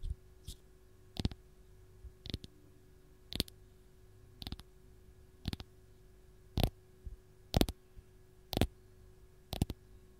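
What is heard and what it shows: Long gold nails tap and scratch the peel of a single whole raw fresh lemon. Short, dry clicking bursts come at about one per second, some as quick double or triple taps with a faint scratchy high edge, over a quiet, steady low hum.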